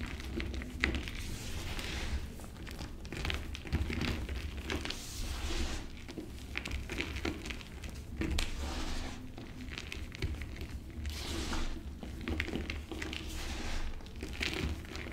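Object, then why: Pressed gym chalk chunks. Bare hands and fingertips press, crush and rub dry chunks of crumbled blue and white pressed gym chalk into powder, in a pile next to the remaining disc. Soft, gritty crunching and crinkling crackles run continuously with frequent brief dry snaps, over a steady low hum.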